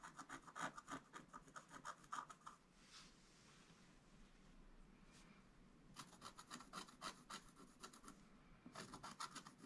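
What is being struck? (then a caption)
Black-coated scratch art paper board scraped with a wooden stylus. A wooden stylus scratches the black coating off a flat scratch art page with a gold base, in short strokes. Quick runs of dry, bright raspy scrapes come in bursts at the start and again toward the end, with a quieter stretch of faint hiss in between.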